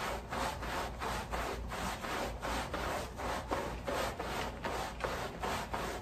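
A long-handled wooden-block bristle brush scrubs the back side of a wet, sudsy woven pile area rug laid on a plastic sheet. Repeated back-and-forth strokes make a coarse, scratchy rubbing hiss centered in the midrange, with a faint low rumble underneath. The strokes come in an uneven rhythm of roughly one and a half per second.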